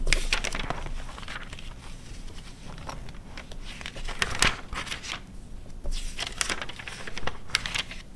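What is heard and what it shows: Long red nails and fingertips turn the thin pages of an open A4-size glossy paper car magazine (Quatro Rodas, 2009) lying on white fur. The pages rustle, crinkle and scratch in a steady stream of bright, papery bursts over a low, soft bed of handling noise, with a few sharper crackles standing out.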